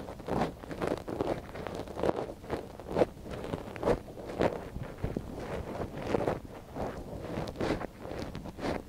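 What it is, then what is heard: Silicone ear scratched with a wooden stick. A thin wooden stick scratches inside the canal of a soft silicone binaural microphone ear held by a gloved hand. Close, dry scratching and rustling strokes come in quick repeated bursts, centered in the low-mid range with brief brighter crackles and no lingering ring.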